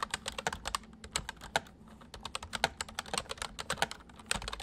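Both hands type quickly with their fingertips on a full-size white plastic mechanical keyboard with white keycaps, resting on a wooden desk. A fast run of sharp, bright clicks dies away almost instantly, with a brief lull near the two-second mark before the typing picks up again.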